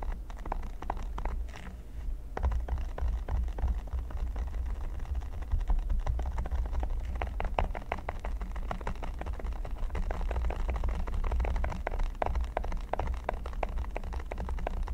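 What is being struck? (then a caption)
Silicone pyramid mat. Fast fingertip and nail tapping and scratching on the studs of a flat, solid red silicone pyramid mat. The result is a dense, continuous patter of soft, short clicks and scratchy rustles over a steady low rumble, with a slightly quieter stretch near the start.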